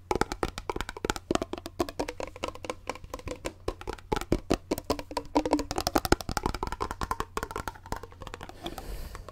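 Fingers tap and rub the grey plastic lid and the bottom of a clear, partly full plastic water bottle held sideways close to the mic. Rapid, dry clicks and knocks with almost no ring run throughout, over a faint rubbing hiss and a steady low hum. Some taps carry a soft hollow tone around 340 Hz.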